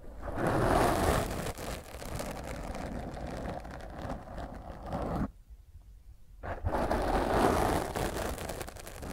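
Long nails scratch roughly across the top of a black foam microphone windscreen while the other hand holds it. The result is a dense, rumbling, crackly scraping with a heavy low end. It drops to near silence for about a second past the midpoint, then resumes just as loud.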